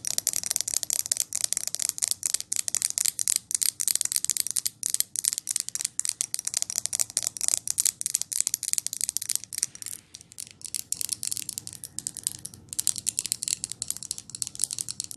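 Long nails tap quickly on the lid top and glass sides of a large glass jar candle filled with wax. The steady run of sharp, bright clicks dies away almost instantly, with a slightly softer, denser stretch partway through.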